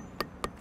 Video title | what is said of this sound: Construction Update Community Market Parking Deck 2-22-17 | tapped here it's a solid sound